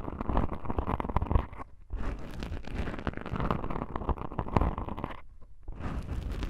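Long pink-painted nails scratch two small black foam windscreen covers on a binaural microphone. The result is dense, crackling rustles with a heavy low-end rumble and many sharp ticks, broken by two brief near-silent pauses.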